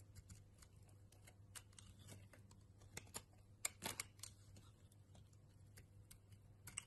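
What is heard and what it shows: A utility knife blade shaves a solid purple bar of soap, peeling off curly flakes. Quiet, dry, crisp scraping and short sharp ticks repeat irregularly, with a couple of louder cuts near the middle and end. A steady low hum runs underneath.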